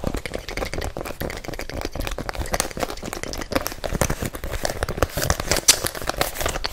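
A hollow, empty pink and white rubber-soled fabric sneaker is held close and scratched and tapped fast on its patterned rubber sole with nails and fingertips. The result is a dense, continuous stream of short, dry scratches and taps with a bright, crinkly edge and no ring.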